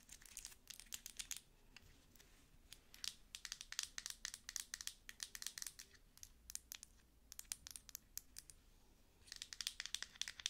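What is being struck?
Thick glass cream jar with metal lid.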